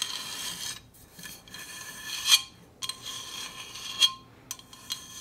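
Long acrylic nails scratch and tap the coated body of a large, hollow, red powder-coated stainless steel Hydro Flask with a black plastic lid, held upright. Bright, high-pitched rasping scrapes mix with six sharp taps that ring briefly around 3.2 kHz.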